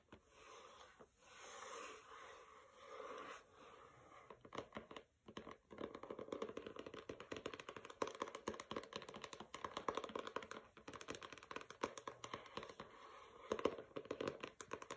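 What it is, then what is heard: Hardcover book cover tapped and scratched. Long red-painted nails and fingertips tap and scratch the pink paper cover of a medium, solid, closed hardcover book, 'Don't Overthink It', lying flat on carpet. Soft, swelling scrapes in the first few seconds give way to a dense run of quick, dry nail clicks and scratches with a papery midrange tone. The sound is quiet throughout, with almost no low end.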